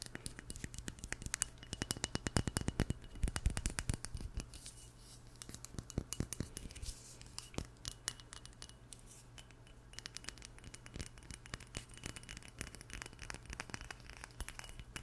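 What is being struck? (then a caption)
Small glass perfume bottle. A small, flat, partly full glass perfume bottle with a black cap and an oval label is tapped and scratched with long nails. Quick, irregular clicks and scratchy taps come thickly for the first few seconds, then thin out into quieter, scattered ticks over a steady low hum.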